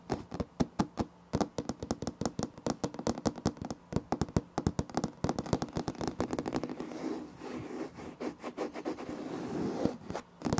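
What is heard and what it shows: Fingertips and nails from both hands tap and knock rapidly on light wood-grain laminate floor planks, a large flat solid surface, producing dozens of dry, short clicks with a low body around 160 Hz. Around six and a half seconds in, the taps give way to a continuous rasping scrape across the planks. A few final knocks close the clip.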